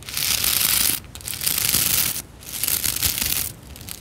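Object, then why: Nylon-bristle plastic scrub brush. Fingertips and long nails rub and scratch across the stiff nylon bristle tips of a hand-sized white plastic scrub brush. It makes a bright, dense, scratchy hiss in three long strokes separated by brief pauses, followed by a softer, quieter stroke at the end.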